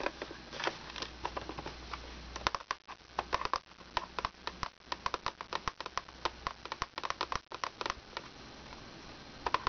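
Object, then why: Small plastic wipes case. Long red nails tap and scratch the lid and sides of a small, hollow, rectangular plastic wipes case with a monkey print, held in the hands. Quick, dry, clicky taps come in uneven bursts, each dying away almost instantly, over soft scratchy rustling and a faint steady low hum.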